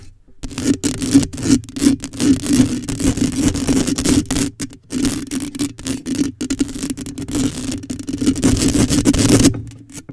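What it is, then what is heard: Metal mesh microphone grille scratched with nails. Long nails scrape down the side of a black metal mesh microphone grille and scratch across its top. The result is dense, continuous scratchy rasping over a steady low hum around 277 Hz, broken by brief silent dropouts. Close-up scraping rustle spreads up into the high range.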